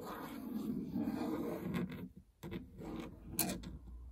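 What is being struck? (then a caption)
Plastic treadmill control panel. Fingernails scratch and rub across the plastic membrane keypad buttons of a treadmill console with a hollow housing, giving a dry, continuous scraping texture with a low, hollow body. The rubbing stops briefly just past the two-second mark, then resumes with a few sharper, brighter ticks scattered among the scratches.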